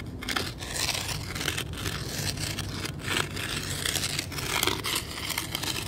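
The tip of a weathered wooden stick, held in one hand, scrapes and pokes at a ground surface of fine gravel and sand. Gritty, bright scraping and crunching come in a steady run of overlapping strokes, with short louder bursts over a faint low rumble.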